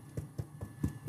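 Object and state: Well-baked sourdough loaf, hollow.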